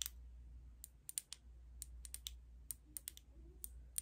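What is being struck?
Small glass cosmetic bottle tapped with fingernails.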